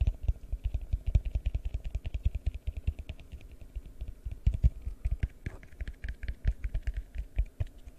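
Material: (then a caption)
Plastic. A large, hollow, empty yellow translucent plastic bowl is held over the microphone and tapped with the fingertips. The result is a fast, uneven run of soft, deep, dull thumps that die away almost instantly, with a light bright click on some taps.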